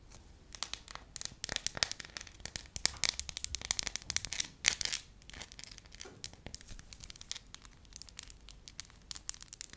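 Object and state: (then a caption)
Pliable wax sheet. A thin, pale yellow sheet of pliable wax is held up in both hands while long nails scratch and crinkle it and fingertips stretch it. The result is a quiet, dense run of sharp, bright crackles and tearing-like crinkles with almost no low end, swelling into busier bursts near the middle before thinning out.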